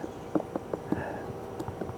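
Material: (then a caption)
Wood. Knocking by hand on burl-like wooden growths on a tree beside an antebellum house. Five short, dull, hollow knocks with a low-mid thud and almost no ring. The burls are wood and sound hollow.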